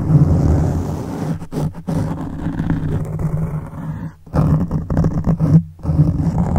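Both hands scratch a black foam microphone windscreen with their fingertips. This produces a dense, low, rumbling scratch concentrated in the bass with a steady hum-like tone, broken by a few brief dips in level.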